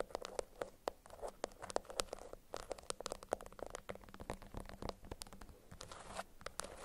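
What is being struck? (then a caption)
Beeswax-coated cotton wrap. A yellow beeswax-coated cotton food wrap bundle is held up in both hands, squeezed and scratched with long acrylic nails. Dense, stiff crinkling and crackling mixes with many sharp, dry clicks and scratchy ticks. The sound is quiet and close, with a brief softer rustling stretch near the end.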